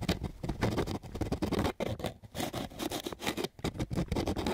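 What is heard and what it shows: A flat sheet of coarse sandpaper is scratched with quick strokes of a flat wooden stick. The result is a rapid, gritty, rasping scrape in bursts of broadband noise with a low-weighted body, separated by brief pauses.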